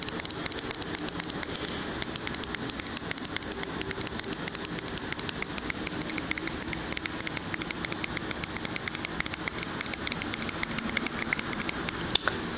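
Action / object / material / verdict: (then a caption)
tap / wax-filled glass candle jar / glass / none. A large labeled glass jar candle filled with wax is tapped with fingernails and fingertips along its glass side. The result is a rapid, continuous stream of short, bright clicks with a high glassy ring over a faint low background hum.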